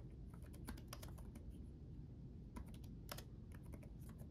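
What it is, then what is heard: Plastic laptop keyboard. Both hands type rapid fingertip taps on the backlit chiclet keyboard of a black laptop, with plastic keycaps on a solid chassis. Quick, bright, short clicks come in two bursts separated by a brief pause, over a low, steady background rumble. The taps are quiet and fade almost instantly.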